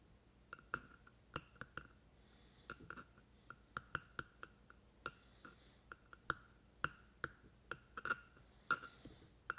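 Fingertips of one hand tap on the top of the hollow black plastic body of a binaural microphone. About 25 quiet, dry, clicky taps land at an irregular pace, each with a brief hollow tone near 1.4 kHz that dies away almost at once.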